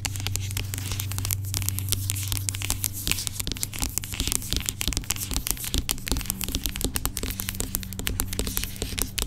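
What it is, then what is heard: Plastic pump bottle of gel. Long pink acrylic nails tap and scratch the label of a dark plastic aloe gel pump bottle with a white pump, lying on its side and apparently filled. The result is a dense run of quick, dry clicks and bright, crinkly scratching over a steady low hum throughout.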